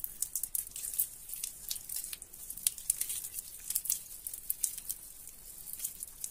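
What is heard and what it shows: Both hands knead and crumble soaked, mushy, crumbly soap in a sink. The result is a quiet, steady stream of bright, wet crackling and squishing with many short, sharp pops and very little low end.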